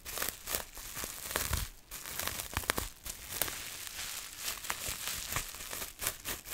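Long nails scratch and crinkle a sheet of clear plastic bubble wrap held up close to the microphone. The result is a dense, bright crinkling and scratching texture punctuated by sharp, dry crackles that stop instantly with no ring.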